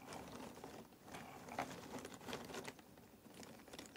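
Fingers pick up and drop small handfuls of cardboard jigsaw puzzle pieces in a box. The result is a quiet, irregular patter of dry clicks and light rattling, with short bright ticks over a soft, steady shuffle.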